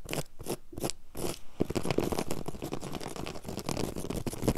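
Long yellow acrylic nails and fingertips quickly scratch and rub a flat, solid, low-pile woven grey carpet on the floor. Rapid, dry scraping strokes come in short bursts at first, then blur into a dense, continuous scratching texture.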